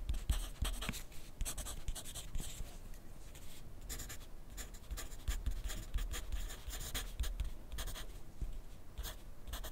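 A wooden graphite pencil writes continuously on a sheet of lined paper clipped to a flat clipboard on a wooden desk. The pencil tip scratches across the paper in quick, bright strokes over a low, soft knocking from the clipboard. The scratching stays steady and dry throughout, with little ring after each stroke.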